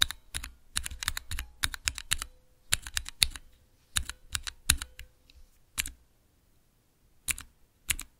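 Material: Plastic.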